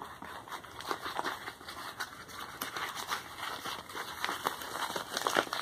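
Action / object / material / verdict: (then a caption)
scrape / kraft paper padded mailer envelope / paper / none. Fingertips and short nails scratch and rub across a medium brown kraft paper bubble-lined padded mailer with a printed shipping label, lying flat on a towel and seemingly holding something inside. The result is a quiet, dry, crinkly scratching made of quick, closely spaced rasps, bright in the upper range with almost no low end.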